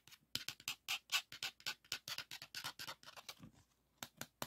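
A green 3.5-inch plastic floppy disk with a metal hub, a black shutter area and a thin hollow case is held in the hands and tapped and rubbed with the fingertips. The result is a quick run of bright, dry clicks and scratchy brushes, each stopping almost at once, with almost no low end.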